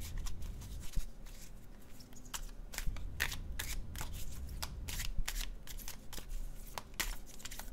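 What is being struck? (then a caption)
Paper tarot card deck. A red-brown paper cardstock tarot deck is shuffled by fingertips, the cards flicking against each other. Quick, bright papery snaps and riffles come in irregular bursts over a steady low rumble, each flick dying away almost instantly.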